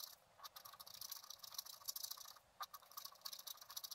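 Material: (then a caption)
Coated paper. A wooden stylus scratches fine lines near the top of a fountain drawing on a flat black-coated scratch art card held in one hand. The sound is a quiet, bright, dry scritching made of quick, closely packed strokes, with almost nothing in the low end and no ring after each stroke.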